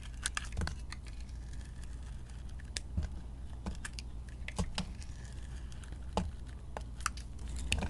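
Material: Soap.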